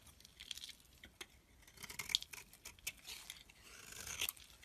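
A box-cutter blade shaves flakes off the surface of a solid white Simple bar soap held in the palm. It makes soft, crisp scraping and crunchy cutting sounds, almost all high and bright with very little low end. The strokes come as a quiet, irregular series of short scratchy bursts.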